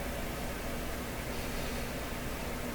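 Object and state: Nothing is struck.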